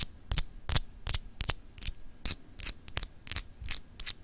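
Long pink acrylic nails scratch and tap a palm-sized solid clear glass globe paperweight with frosted etched continents, held in one hand. The result is 13 short, separate bursts of bright, crisp scratching, spaced somewhat unevenly, over a steady low hum.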